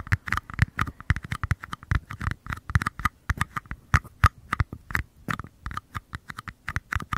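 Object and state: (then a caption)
Mini paper cups. Fingertips tap and scratch the thin walls of small, empty white mini paper cups, one held in each hand with the open end toward the microphone. About 37 quick, dry, hollow taps come in an irregular patter, with a papery tone near 1.2 kHz over a soft low thump. Faint scratching fills the gaps, and each tap stops almost at once.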